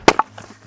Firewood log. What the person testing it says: you swing at it and it just has like a cracking just a cracking sound